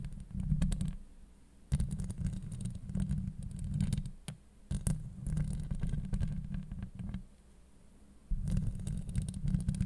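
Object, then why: Steel mesh microphone grille. A hollow steel mesh microphone grille is scratched with long acrylic nails, producing dense, low, rumbling scrapes concentrated below 200 Hz with faint bright crackle on top. The scratching comes in bursts separated by brief quieter gaps.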